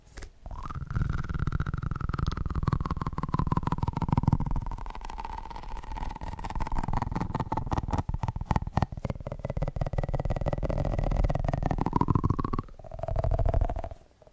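Fingertips rapidly tap and squeeze a small, hand-sized, yellow, soft, rubbery squishy Pikachu figure. The result is a dense run of dull, low, muffled thuds under a continuous squeaky, rubbery whine that slowly glides downward in pitch. The whine shifts to a shorter, higher squeak near the end before the sound fades out.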